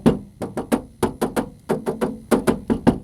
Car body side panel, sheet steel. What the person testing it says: Ini masih kaleng, kalian bisa lihat nih, bisa denger nih kekalengannya